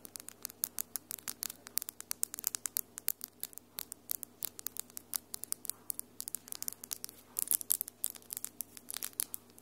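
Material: Acrylic.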